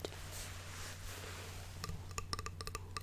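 A flute, the first instrument the player learned, is tapped in a quick run of about nine short, bright clinks with a ringing tone near 1.2 kHz. The taps come in the second half of the clip over a steady low hum and die away almost at once.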